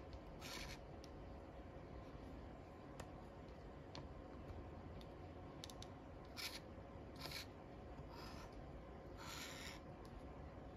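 A wooden stick makes short scratches across the crossword grid squares of a flat cardboard paper lottery scratch-off ticket. Soft, raspy bursts of scratching and a few light ticks sound over a quiet, steady low hum.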